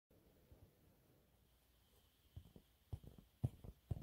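Medium-length fingernails scratch a thin, flat, yellow textured cellulose sponge cloth held up in both hands. The result is soft, dull, low scratching over a quiet hush, with faint scrapes early on building into louder, irregular rasping bursts toward the end.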